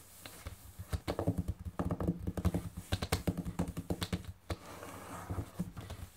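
Long painted nails and fingertips tap rapidly, like typing, on a large, solid, closed hardcover book with a glossy printed cover lying flat on a table. A quick run of short, dull, low-heavy taps clicks and knocks with little ring, easing briefly into a soft hiss before the tapping resumes.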